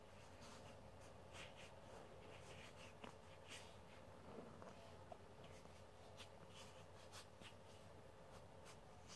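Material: Plastic, metal.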